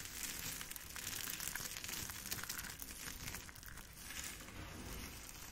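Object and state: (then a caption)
Crushed soap chips. Long pink acrylic nails and fingers scoop, squeeze and crush handfuls of a large loose pile of dry, brittle, multicolored soap shavings and flakes in pink, blue, green and beige, rubbing the chips together. The result is a steady, bright crinkling and crunching texture that swells and eases without distinct separate hits.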